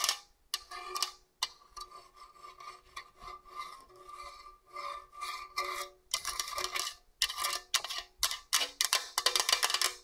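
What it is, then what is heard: Stainless steel box grater. Long orange nails rub and scratch along the blade slots on the slicer face of a hollow stainless steel TalleR box grater. Bright, raspy scraping strokes come in short bursts, with a faint metallic ring near 1 kHz. The strokes are softer through the middle, then turn louder and denser over the last four seconds.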